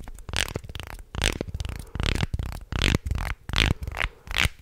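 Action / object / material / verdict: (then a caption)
scrape / wooden articulated shark toy / wood / none. A wooden articulated shark toy is held in both hands and bent back and forth so its segments creak and click, while fingertips rub along its ridges. The result is a series of grinding, crackling bursts with a heavy low rumble and bright, scratchy texture, separated by brief quieter gaps.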